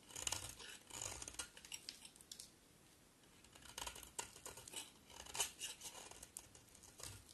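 A utility knife blade scrapes and carves a solid green soap bar held in the hand. The result is a series of crisp, bright scraping and shaving strokes with short dry clicks, broken by a brief quiet pause midway.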